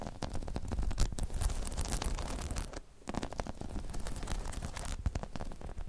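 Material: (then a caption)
Rubber. Long chrome nails scratch and tap rapidly across a medium-sized, hollow, dome-shaped spiky rubber/PVC balance pod. The result is a dense, continuous run of scratchy, crackling taps with a heavy low rumble underneath, easing briefly just before the three-second mark before picking up again.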